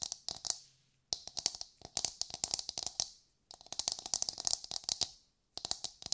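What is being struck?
Coconut shell half.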